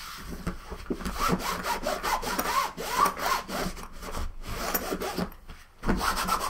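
A green microfiber cloth wipes and rubs the top and edge of a large, closed, hollow, soft-sided blue nylon suitcase resting on a wooden table. Steady, scratchy back-and-forth strokes make a dry, hissing friction sound with a faint hollow body beneath. Brief quiet gaps fall between strokes, near 4.3 seconds and again around 5.5 seconds, before the rubbing resumes.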